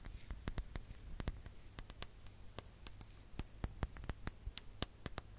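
A ribbed glass hourglass, held upright, is tapped on its lower bulb with long nails. The result is a rapid, irregular series of sharp, bright clicks that die away almost instantly, over a steady low hum.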